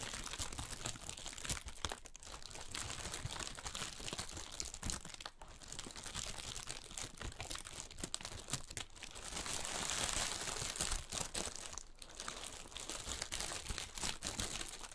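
Fingertips scratch and crinkle the top surface of large, clear, inflated plastic air-column packaging, hollow and filled with air. It makes a dense, continuous stream of bright, crunchy crinkles and quick rustles with short dropouts. The texture swells into a louder, hissier stretch around the ten-second mark.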